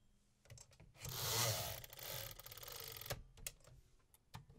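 Fingertips tap the keys of a vintage 1950s metal manual typewriter, giving sharp, bright mechanical clicks. A few taps lead into a sustained burst of dense, rattling mechanical clatter lasting about two seconds, followed by more scattered key strikes.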